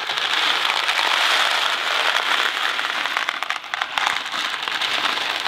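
A small Kraft macaroni and cheese cardboard box filled with dry pasta is held in one hand and shaken and turned. The result is a continuous, dense rattle of pasta against cardboard, bright and crackly with almost no low end, easing briefly near the middle before picking back up.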